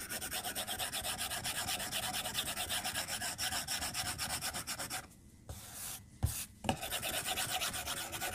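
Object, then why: Plastic stylus on glass tablet screen. A plastic stylus tip makes rapid drawing strokes and taps on the flat glass screen of an iPad tablet resting on a desk. A fast, steady run of bright, scratchy rubbing strokes drops to a brief hush around the fifth second. Two sharp taps follow before the scratching resumes.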